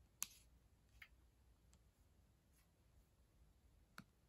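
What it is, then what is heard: Plastic laptop keyboard tapped with nails. Long acrylic nails tap the plastic keys of a black ThinkPad laptop keyboard. Three sharp, bright clicks stand out, spaced over a few seconds, with a couple of fainter taps between them against a quiet low background.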